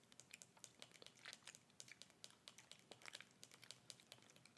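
Long red nails tap and scratch the sides and black screw cap of a small, hollow clear plastic bottle with a gray label, held upright in the hands. A quiet, rapid stream of crisp, bright clicks and scratchy crinkling comes through, almost all high-pitched, with each tap dying away instantly and no low body.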